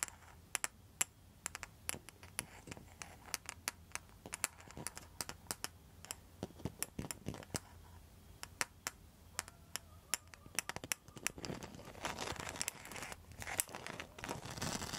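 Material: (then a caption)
Rattan, tile. A round, flat coaster with a woven rattan rim and a mosaic tile centre is held in hand and tapped and scratched with long, pointed metal nail tips. Quick, sharp, bright clicks come in an uneven stream over a quiet background. Toward the end they give way to a denser, louder scratchy rustle.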